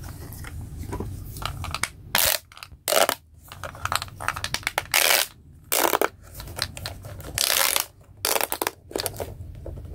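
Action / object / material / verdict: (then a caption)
scrape / corrugated plastic pop tubes on a toy / plastic / none. Both hands stretch and bend the pink corrugated plastic pop-tube limbs of a small, hollow robot toy with a white plastic body. The result is rapid, bright crinkling pops and crackles, with several loud, dense bursts separated by quieter rustling over a faint low background rumble.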